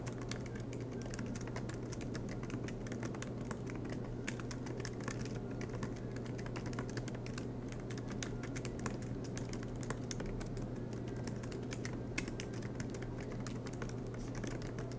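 Both hands type continuously with their fingertips on a silver MacBook Pro laptop's low-profile black plastic keys, set in an aluminium body resting on a desk mat. A steady stream of soft, light clicky taps is heard with bright, crisp key strikes over a constant low hum near 105 Hz.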